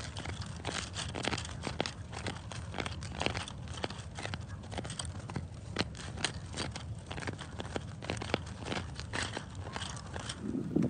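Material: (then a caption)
Granite. Bare fingertips and short nails scratch and rub the rough, grainy surface of a large, solid, speckled granite or quartz boulder outdoors. A steady stream of dry, crackling scrapes is punctuated by sharp, bright clicks and ticks from the nails, over a soft, low rumble.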